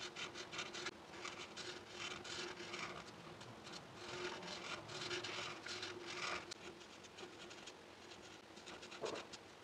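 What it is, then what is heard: Paper sheet rubbed with a marker. A hand with long nails holds a felt-tip marker and rubs it across a flat sheet of white paper with a cup drawing on it, in repeated coloring strokes. Each stroke gives a soft, dry, scratchy rasp with bright hiss, rising and falling in a steady rhythm over a faint constant tone near 440 Hz.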